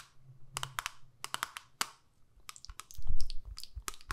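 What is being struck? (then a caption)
Small plastic eyeshadow palette with clear lid. Long nails tap and scratch the clear lid of a small, square, hollow plastic eyeshadow palette, making a series of sharp, bright clicks in close succession. Midway comes a brief pause, followed by faster tapping and a louder, duller scratching rub before a few final clicks.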